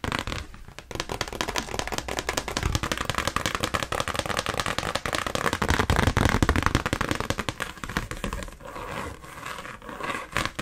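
Long pink acrylic nails tap quickly on the front of an old, thin folded cardstock birthday card reading "A Birthday Poem Just For You," held upright in both hands. A rapid, uneven stream of dry, papery clicks and crackles continues throughout, with soft low thumps underneath and no ring after each tap.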